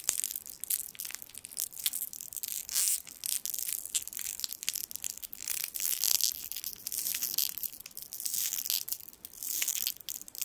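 A small gold foil sweet wrapper has its twisted end pulled and crinkled with the fingertips above the microphone. It makes a dense, continuous stream of bright, crisp crackles and sharp snaps with almost no low end. The crackling swells and dips in short bursts throughout.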